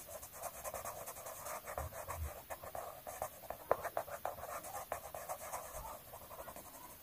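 A pink colored pencil held in the fingers scratches and strokes across a thin, solid sheet of an open paper coloring book lying flat, coloring a flower. The rapid back-and-forth strokes make a dry, papery scratching centered in the midrange, with occasional brief low thumps as the pencil presses against the page.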